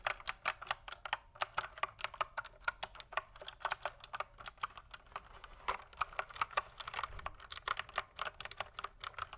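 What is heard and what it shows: Fingertips type steadily on a pink plastic mechanical keyboard with a cable, producing about 46 quick, crisp, bright clicks. Each keystroke dies away almost instantly, with a few brief pauses between bursts.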